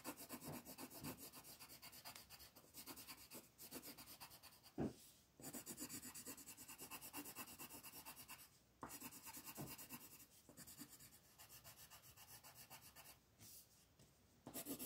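A black colored pencil is rubbed back and forth in rapid shading strokes across a flat paper coloring page on a table. The result is a steady, dry, scratchy rasp with bright hiss, broken by short pauses between bursts of strokes, and one sharper, louder scrape near the five-second mark.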